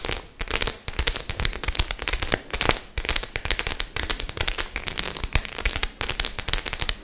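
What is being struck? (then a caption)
Faux leather clutch bag with metal studs. Long nails tap rapidly on the rows of silver and black metal studs of a white studded faux leather clutch bag held flat. The result is a dense, bright, crackling stream of sharp clicks with very little ring, broken by brief pauses every second or so.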